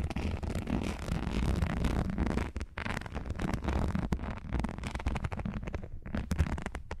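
Long fingernails scratch and tap across the dotted texture of long, thin, translucent, flat, solid plastic or silicone non-slip seal strips held upright. The result is a steady crackly scraping broken by quick, dry taps, over a deep low rumble that dips briefly near the middle.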